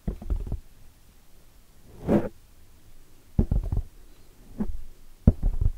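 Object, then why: Foam microphone windscreen. Long nails and fingertips scratch and tap a black foam microphone windscreen from both sides. Heard are dull, low, close-up thumps and rustling scrapes in short bursts, with a softer brushing swell in the middle and quiet pauses between.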